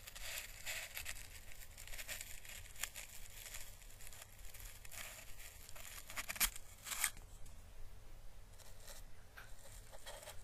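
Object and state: Dried Chinese lantern husk.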